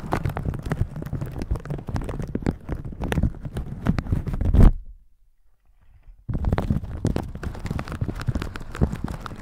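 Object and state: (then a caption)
Plastic shower cap, rubbed. A thin, crinkly plastic shower cap with a pink pattern, stretched over a microphone, is rubbed and squeezed by red silicone scrubber gloves. Dense, deep crinkling and rustling builds to a loud squeeze near the fifth second, then cuts to near silence for about a second and a half. The rubbing then resumes just as densely until the end.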